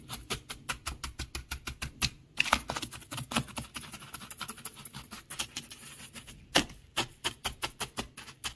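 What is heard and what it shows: Fingers scratch and rake through loose beach gravel of small pebbles mixed with shell fragments. The result is a steady run of short, bright, crunchy rasps with almost no ring: evenly spaced strokes at the start and end, and a denser, more continuous rustle through the middle.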